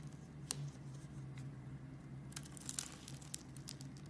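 A metal blade scrapes and shaves the scored surface of a solid pink bar of soap. Soft, crinkly scraping gives way to a dense run of bright, crisp ticks in the second half, over a steady low hum. Each cut is sharp and short with almost no ring.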